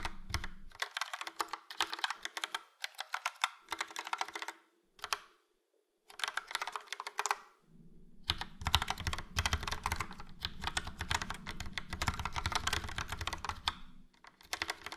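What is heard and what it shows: Fingertips of both hands type on a full-size plastic Logitech POP Keys mechanical keyboard, which has a yellow frame and round dark grey and light grey typewriter-style keycaps. Bursts of fast, bright, clacky keystrokes are broken by short pauses, including a near-silent gap around the five-second mark. A low rumbling thud sits under the typing in the second half.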